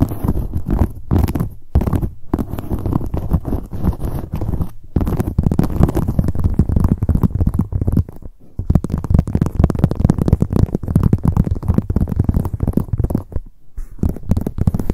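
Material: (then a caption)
Leather. Long nails tap rapidly on the leather surface of a hollow black leather handbag, first on its front and then with the bag lying on its side. The taps form a dense stream of soft, low, muffled thumps with very short decay, broken by brief pauses.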